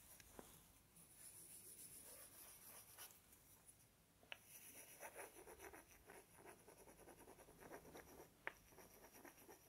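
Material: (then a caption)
Wood. Two small, solid, light-colored wooden blocks, each palm-sized, are held in both hands close to a binaural microphone and rubbed and scratched against each other with the fingertips. The result is a quiet, dry, bright scratching and rubbing texture. A few sharp, short clicks stand out from it.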